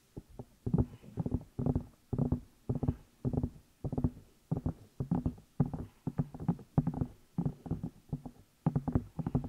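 Fingertips and long nails tap and rub the outside of the two hollow rubber or silicone ear pieces on a black binaural microphone. The result is steady bursts of soft, muffled, low thumping taps with short scratchy rubbing in between. The sound is dull and close, with little brightness and almost no ring.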